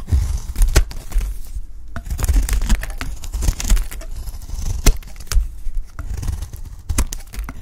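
A utility knife blade shaves a peach-pink solid bar of dry soap, and the flakes fall onto a pile. Repeated dry scraping and crinkly tearing strokes come through, with sharp, bright clicks as the blade bites in over a heavy low rumble.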